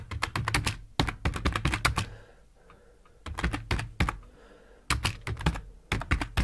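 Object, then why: Plastic computer keyboard. Fingertips of both hands type on a black plastic computer keyboard with hollow plastic keycaps resting on a wooden desk. Quick bursts of clacky keystrokes with a low, thuddy body and a bright click on each press are separated by short quiet pauses.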